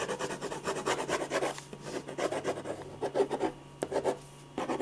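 A silver ballpoint pen scratches fast, dense hatching strokes across a large white paper sheet on a drawing board, shading the hair. A steady, dry, rasping scratch comes in quick bursts with many rapid onsets, carrying bright hiss above a mid-range rubbing tone, with a few short pauses between runs of strokes.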